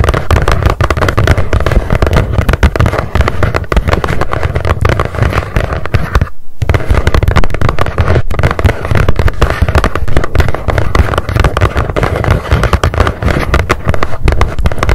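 Long decorated nails tap rapidly on the lid of a small, hollow white cardboard box lying flat on a rug. The dense, continuous stream of close taps has a deep, thumpy low end and almost no brightness, pausing briefly just past the midpoint before carrying on at the same fast pace.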